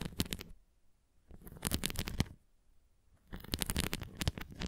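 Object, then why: Plastic flying disc. A red plastic flying disc toy is held flat while long nails tap and scratch its rim. Three bursts of quick, bright clicking and scratching come with a soft low thump and are separated by near-silent pauses. Each tap is dry and stops almost at once.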